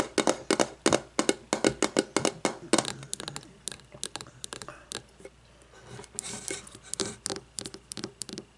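Long nails tap and scratch a frosted glass candle jar lying on its side with its metal lid on, working over the glass body and the labelled glass bottom. Quick, bright, clicky taps come in uneven bursts with short dry rings and a faint glassy tone, broken by softer scraping stretches.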